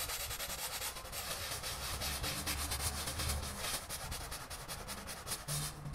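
A small, flat, wet, soapy pile rug is scrubbed with a small handheld brush by a gloved hand in back-and-forth rubbing strokes. The result is a steady, bright, scratchy brushing noise that pulses with each stroke over a low rumble.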